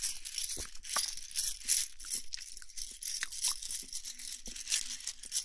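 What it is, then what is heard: Bundle of thin wooden sticks rubbed together. A handful of thin, solid wooden sticks, some painted red and some natural, is held and rolled between both palms and fingertips so the sticks rub and click against each other. The result is a dense, continuous stream of crisp, bright clicks and dry rattling scrapes that die away quickly, with faint low thumps underneath.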